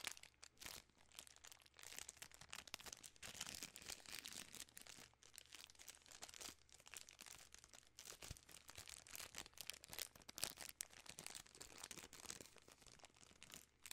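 A full, long Nerds Rope in its plastic film wrapper is crinkled with fingertips and long nails. The result is a steady, bright stream of dense crackles and rustles, with quick sharp snaps and almost no low end. It stays fairly quiet throughout, with a faint low hum underneath.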